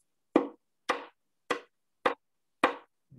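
Five sharp taps on the bridge of a wooden violin, about half a second apart. Each produces a short, hollow, woody knock that fades quickly as the body responds to the tap. After the fifth tap there is a faint low sound.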